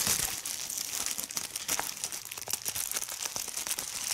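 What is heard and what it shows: Fingers squeeze a large sheet of clear plastic bubble wrap and pop its bubbles, the sheet at times held up close. A dense, steady run of bright crinkling and sharp little pops goes on throughout, with almost no low end.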